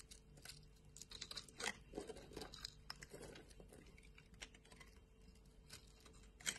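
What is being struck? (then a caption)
Soap bar. A solid light-green bar of soap, held in the hand, is carved and scraped with a utility knife blade, with strands and flakes falling off. Quiet, bright scraping and crisp crackling cuts run throughout, with sharper snaps along the way and a final louder crack near the end.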